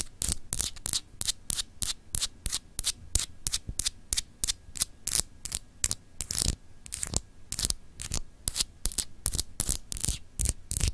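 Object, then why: Solid glass globe paperweight with frosted etched surface. A palm-sized solid glass globe paperweight with a frosted, etched map is scratched with long acrylic nails. The result is a rapid series of short, bright, raspy strokes with a low rumble beneath them. Each stroke dies away almost at once.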